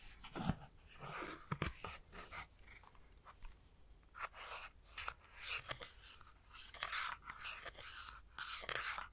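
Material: Plastic.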